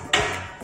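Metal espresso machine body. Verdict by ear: Solid.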